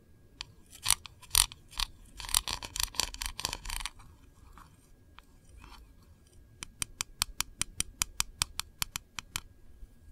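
Long fingernails tap the lid of a small, round, printed metal candle tin, which is hollow, and then the nails of both hands tap its edge and sides. The first few seconds bring sharp, bright, clicky taps in uneven clusters. After a quieter stretch of soft scratching, a fast, steady run of crisp, short taps follows.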